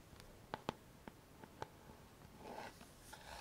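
A fingernail taps the hollow plastic back of a pink paddle hairbrush six times, each tap a short, dry click with a faint hollow ring in the mid range. Between and after the taps, a soft, brighter scratchy rubbing sound is heard against a quiet background.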